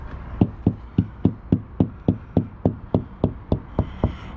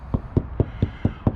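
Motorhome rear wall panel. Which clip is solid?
The first.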